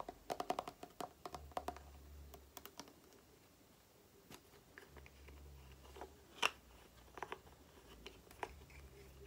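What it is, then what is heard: Plastic cream tube. Long nails tap and scratch a small plastic cream tube, including its flat crimped end. Quick, dry clicks come in irregular bursts with short bright ticks, and one sharper tap near the middle stands out. Softer scratchy rustling fills the gaps, all at a quiet level.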